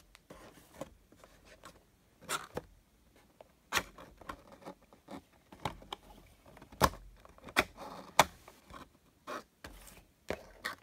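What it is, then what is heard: Cardboard box tapped and rubbed. Fingertips tap and rub the sides and top of a small, hollow, closed printed cardboard Funko Pop box holding a Super Saiyan Rose Goku Black figure. Soft dry rubbing and scraping runs under about a dozen sharp, irregular taps that decay almost instantly. Some taps carry a bright papery crackle.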